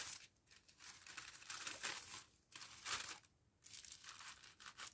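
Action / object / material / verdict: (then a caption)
scrape / thin tissue paper sheet / paper / none. Hands with long painted nails fold a thin, large sheet of pink tissue paper over a fabric face mask on a towel-covered table. Bursts of bright, papery crinkling and rustling swell and fade, separated by brief quiet pauses, with almost no low end.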